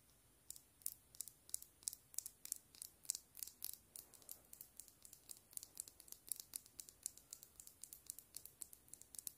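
A small hollow plastic frog keychain figure, held in the fingers, is tapped quickly with long nail tips. About fifty sharp, bright clicks come in a rapid, uneven patter, each dying away almost instantly, over a quiet background.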